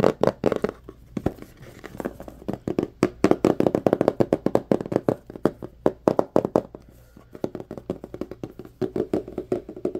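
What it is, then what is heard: Cardboard phone box. Fingertips tap and scratch the surface and edges of a small, hollow white cardboard phone box. A fast, uneven run of short, dry taps with a hollow mid-range tone dies away almost instantly, with quieter scratchy stretches between bursts.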